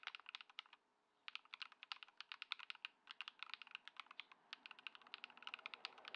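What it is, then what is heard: Modded mechanical keyboard with plastic keycaps. A modded Ducky One 2 SF compact mechanical keyboard, fitted with Lumia Matcha switches, Poron foam and white plastic keycaps, is typed on continuously with the fingertips of both hands on a wooden desk. Dozens of short, bright, crisp key clacks come in quick, uneven bursts with almost no low end. A brief pause falls around the one-second mark.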